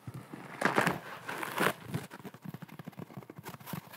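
A large, round, porous yellow sponge, soft and apparently dry, is held in both hands, squeezed and scratched with nails and fingertips. Early on come a few broad, louder crunchy bursts, followed by a quicker string of short, crisp crinkling scratches with bright edges, all close and fairly quiet.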